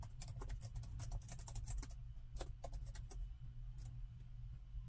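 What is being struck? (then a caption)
Plastic laptop keyboard. Plastic chiclet keys on a plastic laptop keyboard are typed rapidly with the fingertips of both hands. The result is a dense run of short, light, bright clicks over a steady low hum, thinning to a few scattered taps in the second half.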